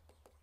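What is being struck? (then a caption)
Deer kneecap bone tapped with a knife. A knife taps three times on the kneecap at one end of a wild venison leg being deboned. Each tap is a short, dull knock centered around 500 Hz that fades quickly, over a steady low hum.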